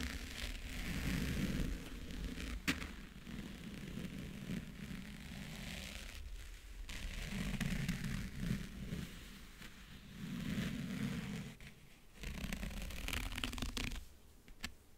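Fingernails scratch and trace across the lid and front edge of a closed, hollow backgammon case covered in map-print faux leather. The result is a steady, raspy scratching with a low, hollow body resonance, broken by a few sharp ticks and brief near-silent pauses around 6.5 and 12 seconds.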